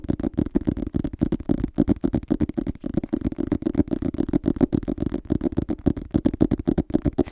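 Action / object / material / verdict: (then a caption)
tap / paperback book with glossy cardboard cover / cardboard / none. Fingertips tap and scratch the glossy cardboard front cover of a small, solid illustrated paperback book held in one hand. The result is a quick, uneven run of short, dull taps with scratchy texture in between, concentrated in the low-mid range with almost no high end and virtually no ring after each tap.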